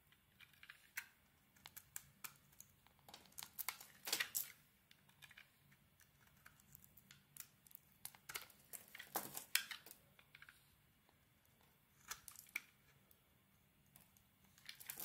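A utility blade scrapes layers off a solid oval purple bar of soap with a gold glitter band and a white core, held in the palm. The clip is a quiet run of short, crisp, bright scrapes and crackles that stop almost instantly, with brief pauses between the bursts.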